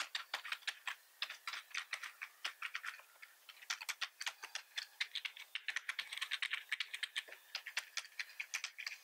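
Both hands type steadily with the fingertips on a black plastic computer keyboard. Dozens of short, light, bright clicks and clacks run in a rapid, uneven stream for nine seconds, each dying away almost instantly with no low thump beneath.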